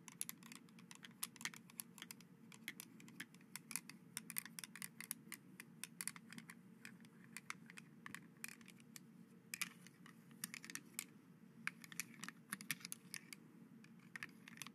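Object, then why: Plastic grabber toy with jointed fingers. White plastic skeleton hand grabber toys, held above a dark cloth, are squeezed repeatedly so their plastic finger joints click together. The result is a long run of quick, dry, bright clicks that die out almost instantly, heard over a steady low hum.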